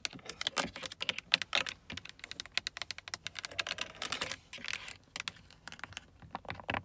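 Long acrylic nails tap and scratch across a carbon-fiber-look hard plastic window and mirror switch panel on a car door, a hollow molded trim piece with buttons. The result is a rapid, uneven run of sharp, bright clicks with almost no ring, mixed with dry scratchy rustling across the plastic.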